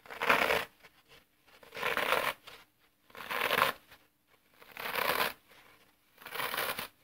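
A thumb presses repeatedly along the edge of a solid, dry green floral foam block held upright, crushing the porous foam into a row of dents. Five separate crisp, crackling crunches are heard, each about half a second long, with bright, gritty texture and short quiet gaps between them.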